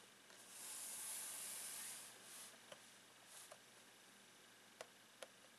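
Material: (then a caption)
Plastic. Fingertips and nails scratch and tap the clear plastic lid of a long retail box of rolled socks lying flat. A soft, bright, hissing scrape swells and fades in the first two seconds, followed by several quiet, sharp plastic taps over a faint background hiss.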